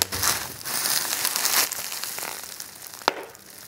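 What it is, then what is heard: Plastic bubble wrap. Clear plastic bubble wrap is grabbed in a fist and then squeezed under the thumb to pop the bubbles. A dense, bright crinkling and crackling rises over the first second and a half, then thins to a softer rustle. A single sharp, dry pop stands out near the end.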